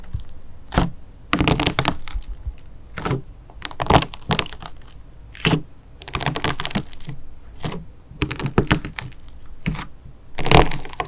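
A fingertip pokes and presses into the thin hardened melted-wax crust on a flat mint-green disk of play foam clay mixed with slime, which rests on a sheet on a table. The crust cracks with repeated sharp, crisp crackles and crunches in irregular bursts, separated by short quiet gaps.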